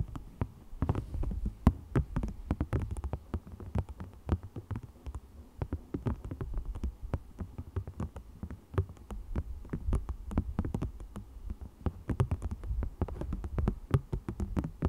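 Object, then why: Thin textured plastic sheet. A thin black plastic sheet with a raised green scale texture is held between the hands, flexed and scratched with fingernails. The result is a dense, continuous stream of dull, low-heavy rustling and scraping, broken by rapid sharp clicks and ticks that die away almost instantly.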